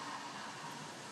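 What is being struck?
Nothing is struck.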